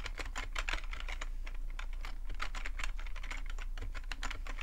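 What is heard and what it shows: Short-nailed fingertips type steadily on a full-size black plastic computer keyboard with a hollow plastic body. Quick, irregular, bright key clicks and taps with very short decay run throughout. A low steady hum sits underneath.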